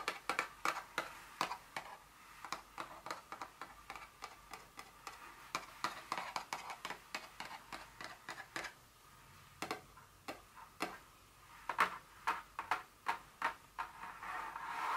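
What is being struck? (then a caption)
Paperboard perfume box. Long fingernails tap the top of a small, hollow, printed paperboard Dior fragrance box lying flat on a stone surface. Dozens of quick, dry, hollow clicks sound in uneven bursts, with short pauses between them. Each tap is bright and papery, centered around 1.1 kHz, and dies away almost at once.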